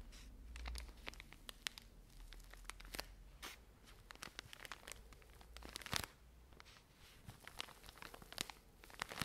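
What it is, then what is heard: Plastic-wrapped pack of cotton pads. Long nails scratch and crinkle the plastic film wrapping of a full pack of cotton pads. Quiet, bright crackles and sharp snapping clicks pop irregularly over a soft low rumble, with brief tearing-like scrapes between them.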